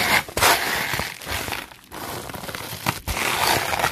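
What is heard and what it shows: A red-bristled hairbrush is scraped fast and aggressively back and forth across a clear plastic bubble wrap sheet. It makes bright, dense, crinkly scratching in rapid, uneven strokes, with a couple of brief pauses between bursts.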